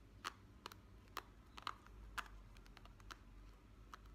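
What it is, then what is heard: Plastic hairbrush bristles. Fingertips and nails flick and scratch across the tips of a hand-sized hairbrush with many flexible, wavy, rainbow-coloured plastic bristles on a black pad, held close up. The result is a quiet series of short, sharp clicks at an irregular pace, about two per second, over a low background hum.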